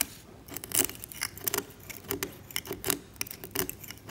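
A steel scalpel blade scrapes the varnish of a varnished oil painting on canvas, lifting flakes. The result is a series of short, dry, bright scratches with crisp ticking edges and almost no ring, spaced by brief quiet gaps.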